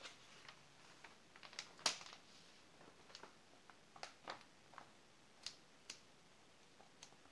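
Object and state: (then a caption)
Glossy paper magazine. Pages of an open glossy paper magazine are flipped while the fingers of both hands rub and smooth the glossy spread. A quiet series of short, bright, crisp paper swishes and ticks sounds over a soft hiss, with the loudest crackle near two seconds.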